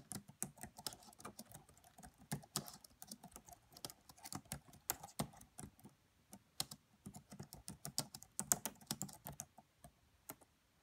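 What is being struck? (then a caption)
Plastic laptop keyboard keys. Fingertips with medium-length nails type on the black plastic keys of a red laptop's keyboard. About 26 quiet, short, bright clicks and taps come in irregular bursts, each dying away almost instantly, with a soft low thud beneath some of the keystrokes.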